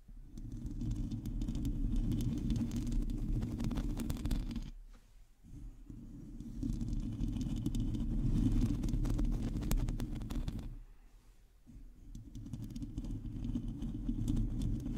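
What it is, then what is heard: Metal mesh microphone grille being scratched. A hollow domed metal mesh microphone grille is scratched and tapped with long teal acrylic nails from both hands. The result is a dense, low rumbling scrape full of rapid crackly ticks. It swells and fades in two long waves, with brief quiet dips near five and eleven seconds.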